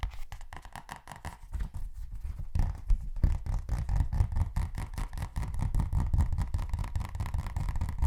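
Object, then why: Thin paperback book. A thin paperback copy of *Of Mice and Men* is tapped aggressively and fast. The result is a dense run of short, dull, low thuds with almost no ring, growing louder after the first few seconds.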